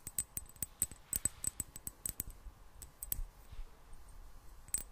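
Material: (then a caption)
Glass. Long black nails tap a small, hollow, clear glass bottle with a gold metal cap, partly filled with water. Quick, bright clicking taps with a thin high ring come in a rapid, uneven run that thins out toward the end, then a final sharp tap.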